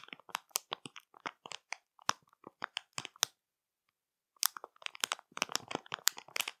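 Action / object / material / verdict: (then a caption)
tap / plastic film snack bag / plastic film / none. Long matte nails tap and scratch the plastic film of a full marshmallow bag, whose clear window shows the marshmallows inside. Quick, bright, crinkly crackles come in close bursts, pause for about a second, then pick up again just as densely.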